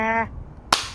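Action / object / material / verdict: drop / smartphone with glass screen / glass / cracked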